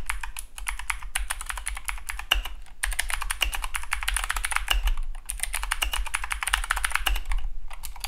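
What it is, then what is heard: Mechanical keyboard with clicky blue switches. Steady fingertip typing on a compact Keychron K2 (V2) mechanical keyboard with dark plastic keycaps and blue clicky switches. Each keystroke gives a sharp, bright click with a short snap around 2.9 kHz, and the clicks come in a rapid, continuous stream over a low, steady hum.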